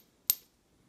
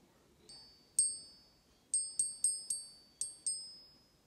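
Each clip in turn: First: One very high, bright tick that dies almost at once: a hard non-gold metal with a short, clipped ping. Second: Eight light taps give a gold coin a clear, high ping that keeps ringing, as a genuine coin should.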